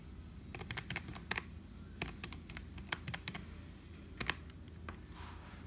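Fingertips type on a black HP plastic membrane keyboard with hollow keys, then a finger taps single keys at the lower right. The sound is a series of short, dry, bright clicks with no ring over a steady low hum, with a few louder taps standing out.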